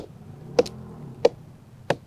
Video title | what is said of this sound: Evaluating a Tree for Decay | when trees have extensive decay you will have a much more low pitch associated with that